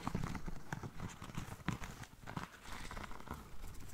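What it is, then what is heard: Lace espadrille with jute sole. Long nails scratch the black lace fabric upper of a single, hollow, empty espadrille with a braided jute sole. The result is a close, dry, uneven scratching and rustling with soft, thumpy low-end bumps and brief bright edges.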